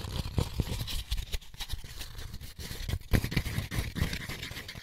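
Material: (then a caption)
Paper pulp. An empty white molded paper pulp egg tray with six hollow cups is turned over in the hands while fingertips and nails tap and scratch the cup bottoms and inner walls. Quick, dry taps with low, hollow thumps come in a dense, uneven stream over a soft, steady scratching hiss, each tap dying out almost at once.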